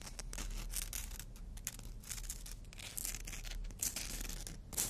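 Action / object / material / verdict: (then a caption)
scrape / emery board nail file / abrasive board / none. Natural fingernails are drawn in filing strokes across a long, thin, flat black-and-white emery board nail file with an abrasive surface, held in the other hand. Bursts of bright, gritty scratching rise and fall in quick succession over a steady low rumble, with the rasp strongest in the high range.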